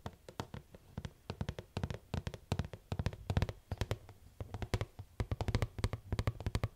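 A medium purple rigid plastic Dash laundry pod tub with a lid, hollow and likely partly full, is tapped with long acrylic nails on the lid and sides. The result is a rapid, uneven run of short, dry clicking taps, each with a low, hollow thump underneath and a bright nail click on top. Every tap dies away almost at once.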